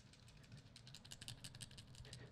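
A roundish flint rattle stone found on a Baltic beach is shaken, and the fossil sponge remains washed loose inside it through its holes rattle audibly. The result is a rapid series of light, dry clicks over a steady low background hum. Such rattling flints are a rare find.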